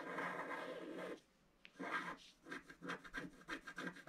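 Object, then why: Black-coated scratch-art paper and wooden stylus. A wooden stylus scratches the right-hand and lower petals of a flat black-coated scratch-art paper card. A steady, dry scraping lasts about a second, then after a short quiet gap, a quick run of short, separate scratch strokes follows.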